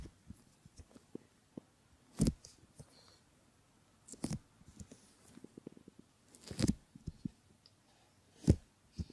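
Fingers rub over a pair of solid silicone ear models and stretch the ear pad, making soft, low, muffled rubbing with scattered small clicks and taps. Four louder, brighter swishes stand out, spaced a couple of seconds apart, against an otherwise quiet background.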